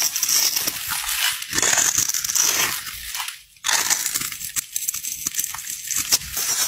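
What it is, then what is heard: Bar soap being carved. A metal utility knife blade scrapes and carves small cubes and crumbs off a solid rectangular pink bar of soap with a pre-scored surface, held in the hand. Dense, bright crunching and crackling scrapes run throughout, with a brief near-silent pause around the middle before the carving resumes.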